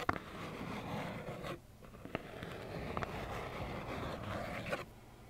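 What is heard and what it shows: Long acrylic nails scratch a small, hollow plaid cardboard tissue box in a steady, gritty rasp, broken by four short, sharp taps. A brief quieter stretch falls in the middle before the scratching resumes and then fades at the end.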